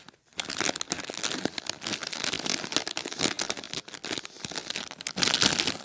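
A single clear plastic bag full of popcorn lies on a blanket and is pressed and scrunched with fingertips and short nails. After a brief silent start, it gives a steady run of bright, dense crinkling and crackling that swells and dips with each squeeze and grows loudest near the end.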